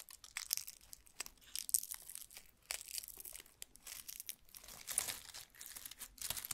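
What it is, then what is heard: Dried lemon balm leaves, crisp and dry. Fingertips pick at, rub and crumple the brittle leaves of a large, loose bundle of dried lemon balm stems lying on a wooden table. The result is soft, irregular bursts of crisp, bright crinkling and crunching, with almost no low end and very short decays.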